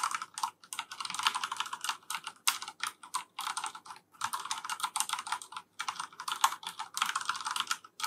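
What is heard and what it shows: A black plastic FILCO Majestouch 3 mechanical keyboard with Cherry MX Brown switches is typed on continuously with the fingertips of both hands. Rapid, crisp plastic clacks come in quick bursts with brief pauses, centered around 1 kHz with bright upper edges and almost no low end. Each keystroke stops sharply with very little ring.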